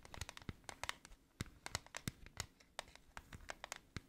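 Long nails tap and scratch the embossed teddy bear lid of a flat, hollow, gold-green metal tin held up in the air. The result is a quiet, quick run of short, dry clicks with a bright, scratchy rasp between them. Some taps carry a low, hollow knock.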